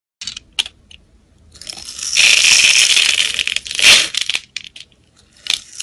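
A solid rectangular blue-and-white soap bar is held in hand and scraped and chipped with a metal utility knife blade, sending flakes falling. Short, bright scraping ticks open the clip, then swell into a sustained, hissy, high-pitched scrape through the middle with a sharp peak near four seconds, before trailing off into scattered light scratches.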